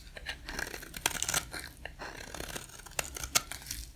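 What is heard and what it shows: A box-cutter blade shaves curls off one end of a solid, dry, white rectangular soap bar held in the hand. The result is a dry, crisp scraping with crackly, tearing rasps that are mostly high and bright, broken by sharper clicks as the blade bites.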